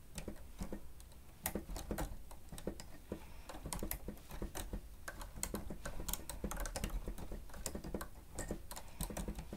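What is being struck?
Plastic stenotype machine keyboard.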